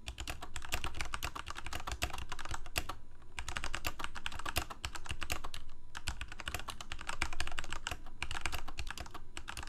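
Fingertips of both hands type rapidly on a full-size Corsair K68 backlit plastic mechanical keyboard with Cherry MX Red switches. The result is a dense stream of short, bright key clacks with soft, dull bottoming-out thuds over a steady low hum, with brief lulls near 3 and 4.5 seconds.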